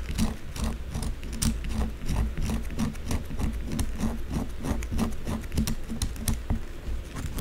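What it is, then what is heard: Bar of soap scratched by fingernails. Long blue acrylic nails rapidly scratch the narrow side of a solid white bar of soap that stands on its edge, held in one hand. A fast run of dry, raspy scratches with brief bright clicks rides over a steady low tone near 215 Hz, with most of the energy sitting low.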